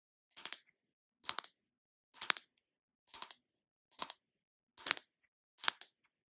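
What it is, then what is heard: Plastic body butter tub tapped with nails. Long acrylic nails tap and scratch the screw lid of a small round plastic jar of The Body Shop shea body butter held in the hands. Seven short, evenly spaced bursts of quick, crisp clicking and scraping are heard, each bright and dry with almost no low end. Between bursts there is near silence.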